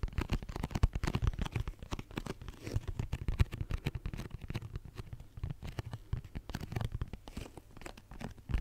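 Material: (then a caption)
Cardboard. Fingernails tap and scratch across the faces of a hollow pink cardboard tissue box held in the hands. A dense, rapid stream of short, dull knocks and scraping crackles carries a low, hollow thump, with almost no bright edge. Each tap dies away almost instantly.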